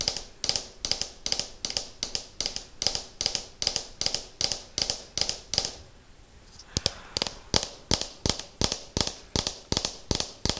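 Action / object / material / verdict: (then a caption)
tap / hollow plastic ball / plastic / none. A hollow, striped orange and white plastic ball is held in the hands and tapped with fingernails in a slow, steady rhythm. Each tap is a short, bright, hollow click that dies away almost instantly. There is a brief pause in the middle before the tapping resumes.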